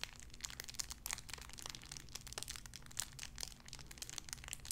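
A small clear plastic bag wrapped around a tiny white figurine is crinkled and squeezed between fingertips with long red nails. Quick, bright, dry crackles come in rapid bursts over a steady low hum, and each snap dies away almost instantly.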